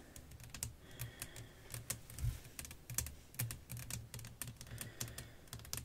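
Long acrylic nails tap and scratch across a solid, thin, flat clear glass pane lying over black lace fabric with fairy lights underneath. Quick, sharp clicks with bright edges fall in an uneven, rapid rhythm over a low thud, broken up by short scraping strokes.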